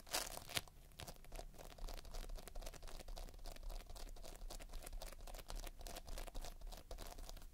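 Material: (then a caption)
Polystyrene beads. Fingertips press, squish and scratch through a soft, solid mound of sticky multicolored polystyrene bead playfoam. The result is a steady stream of dense, crackly crunching and fine tearing ticks with bright grainy edges over a low, muffled rumble, and a sharper crackle near the start.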